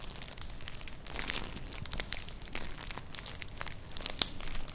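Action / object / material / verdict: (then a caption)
scrape / woven straw clutch bag / straw / none. Long nails scratch a flat, colourful, hollow woven straw-like clutch purse held close to the microphones. Dry, crinkly scratching and bright crackles come in quick bursts, with a few sharper ticks and a faint low rumble underneath.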